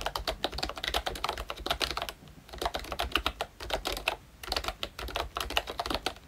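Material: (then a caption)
Plastic. Fingertips of both hands type rapidly on a full-size plastic retro membrane keyboard with round typewriter-style keycaps, dark keys, a cream frame and a Mickey badge, its hollow body adding to the sound. Dense, bright clacking keystrokes come in quick bursts with brief pauses near 2 and 4.5 seconds.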